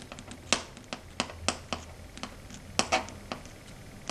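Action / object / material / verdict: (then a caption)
tap / fingernails on a slate chalkboard / slate / none. Long red stiletto nails tap and scratch across a flat matte dark grey chalkboard. Sharp, bright clicks and brief rasping scrapes come in an irregular series, each dying away almost at once over a faint low hum.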